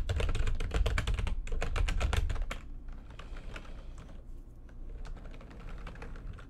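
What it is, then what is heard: Plastic computer keyboard. Fingertips and long nails type fast across the keys of a backlit plastic computer keyboard, giving a rapid run of sharp, bright clicks over a low rumble for the first two and a half seconds. The typing then turns to quieter, sparser taps that continue to the end.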